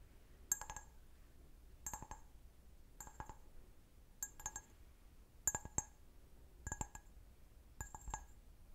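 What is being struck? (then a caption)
Glass wine glass. An empty, medium-sized clear stemmed wine glass, hollow and held sideways, is tapped with fingernails in seven quick clusters of light clicks. Each cluster gives bright, high glassy pings with mid-range ringing that die away almost at once, separated by quiet pauses over a low background hum.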